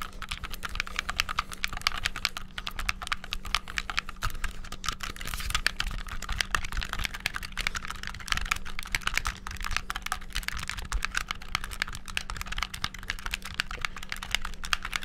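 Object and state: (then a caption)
Plastic game controller, button clicking. Rapid button clicking with thumbs and fingertips on a hollow, black handheld plastic game controller. The bright, dry plastic clicks come in a dense, continuous stream for the whole clip, over a steady low hum.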